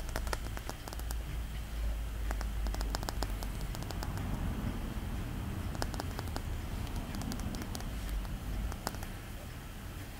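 A palm-sized solid polished pink rose quartz sphere, held in both hands, is tapped and scratched with fingertips and short nails. Quick, irregular bright clicks and light scratching patter run throughout over a steady low rumble, with no pause in the sound.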